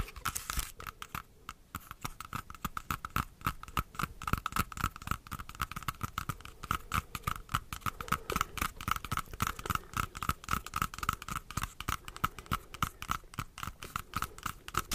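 Long acrylic nails tap and scratch a whole, solid, fist-sized dark red apple close to the microphone, making a fast, irregular stream of short, dry clicks and scrapes. A faint mid-pitched tone near 1.3 kHz runs through the taps, with soft gum chewing possibly audible underneath.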